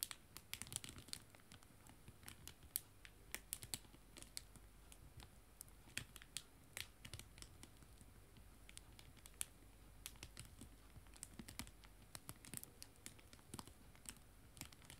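Fingertips and nails tap quickly on a small clear plastic bag of paper art prints lying flat. The result is a quiet, irregular stream of sharp, bright clicks and crinkles that die away instantly, over a faint steady low rumble.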